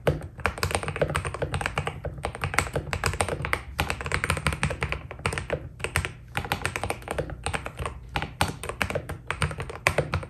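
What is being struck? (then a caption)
Mechanical keyboard with PBT plastic keycaps. Fingertips type steadily on a white Keydous NJ80 mechanical keyboard with PBT plastic keycaps. Rapid, crisp key taps run in bursts with a deep, rounded thock underneath and short pauses between runs, each press dying away almost instantly.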